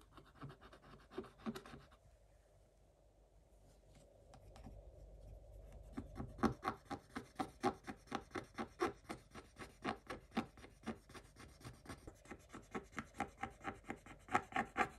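A pointed wooden stick scratches the coating off a scratch-art paper page in a spiral notebook, recorded up close. A few quick scratchy strokes open the clip, followed by a quiet stretch with a faint low hum, then steady, rapid back-and-forth scratching at about two strokes per second. Each stroke is a short, dry rasp with no ring.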